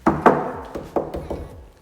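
A rear interior trunk panel of a Nissan 350Z is knocked several times after an old piece of t-shirt is stuffed into a hole behind it. Each knock gives a short, dull thunk with no rattle. The panel no longer rattles, with a loose metal clip blamed for the earlier noise.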